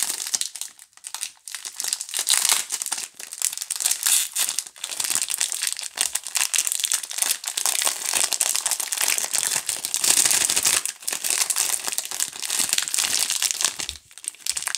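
Long glittery nails crinkle and tear open the clear plastic film on a pink DURU multipack of soap bars. A dense, bright, hissy crackle runs almost continuously for about 15 seconds with almost no low end, dipping into brief quiet gaps near the start and end.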